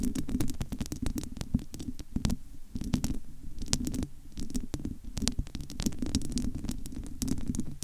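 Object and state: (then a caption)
Metal mesh microphone grille. Long almond-shaped nails scratch and tap across the bare, domed metal wire-mesh grille of a large, hollow studio microphone. Rapid, dry taps land in quick succession over a continuous scratchy rustle, with a low, hollow thump dominating the sound and bright clicks on each hit.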